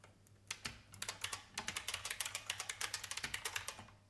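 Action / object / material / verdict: tap / plastic mechanical keyboard / plastic / none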